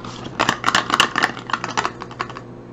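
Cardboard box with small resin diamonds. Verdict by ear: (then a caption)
Full. The 13th advent calendar box, holding white resin diamonds in a small bottle, is shaken by hand. The loose diamonds give a quick series of dry, bright clicking rattles that rise and fall in bursts over about two and a half seconds, then taper off.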